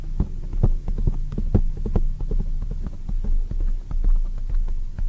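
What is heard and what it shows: A black oval foam windscreen on a microphone, soft and spongy, is tapped rapidly with long white acrylic nails using both hands. The result is a steady stream of deep, muffled thumps over a low hum, with almost no high-frequency content.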